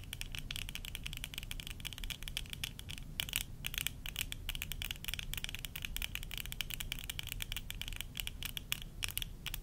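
Long nails scratch and tap the rims of worn tortoiseshell plastic eyeglasses in a steady stream of quick, dry clicks. Bright, crackly ticks ride over a low, dull rumble, each click dying away almost instantly.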